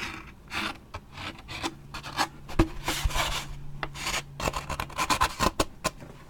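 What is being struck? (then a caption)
Waxed paper drink cup with plastic lid. A large waxed paper drink cup with a plastic lid has its side and top edge scratched with fingernails and a thin stick. Short bursts of dry, raspy scratching come in an uneven rhythm, broken by sharp, bright ticks and a low steady hum underneath.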